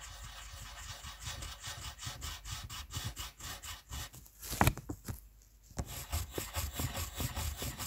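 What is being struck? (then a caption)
Wooden colored pencil on a paper sheet. A red wooden colored pencil held in the fingers rubs and scratches back and forth over a white paper coloring sheet on a table, filling in a letter. The steady, rhythmic strokes give a dry, bright scratching rasp over a soft low rumble. Midway there is a sharper knock and a brief quiet pause before the strokes resume.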